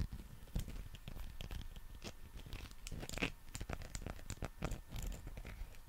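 A long, textured, solid soft rubber or vinyl dinosaur figure is held in both hands close to the mic and scratched and rubbed with fingertips and nails. The result is a dense run of quick, dry scratching and tapping sounds over a low, rumbly handling noise, with brief crisp, bright scrapes scattered throughout.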